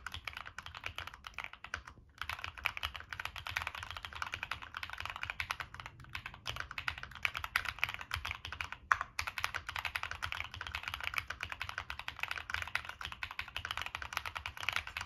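A Monsgeek M1 mechanical keyboard with a black aluminum case, plastic keycaps and NK Cream switches is typed on continuously with the fingertips. Rapid, crisp, bright clacks follow each other densely with very short decay, and there are brief pauses near 2 and 9 seconds.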